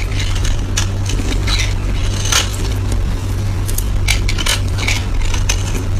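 A blade scrapes and shaves a solid, oval, palm-sized yellow soap bar held in the hand, peeling its surface into curls. Quick bright, crackly scraping bursts repeat over a steady low hum that runs throughout.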